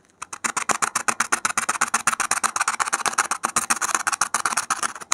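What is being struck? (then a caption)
Expanded polystyrene foam block scratched with a metal pin. A gloved hand makes rapid pricks and scratches with a metal safety pin on the surface of a solid white expanded polystyrene (thermocol) foam block. About 31 short, dry, scratchy ticks come at roughly four per second, each dying away almost instantly, with a bright, crackly texture centered around 1 kHz.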